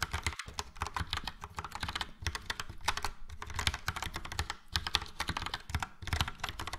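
Fingertips of both hands type steadily on a full-size plastic Logitech POP Keys mechanical keyboard with a yellow frame and round dark grey and light grey typewriter-style keycaps. The result is a quick, continuous stream of bright, clacky keystrokes over a low thocky body, each click dying away almost instantly, with a few brief pauses between bursts.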